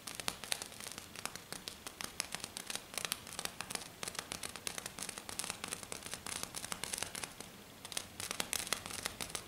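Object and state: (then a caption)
Silver glitter sheet. One hand rapidly scratches and taps its fingernails across a flat silver glitter sheet lying on a table. The result is a dense stream of bright, crackly, papery scratches and sharp clicks with almost no low end. The sound eases briefly near the eight-second mark, then resumes at full pace.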